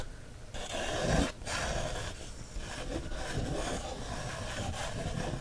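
A wooden stick traces across an open page of a paper coloring book, making a continuous dry, scratchy rubbing sound with a low, grainy texture. The sound briefly drops out near the start before the steady scraping resumes and carries on to the end.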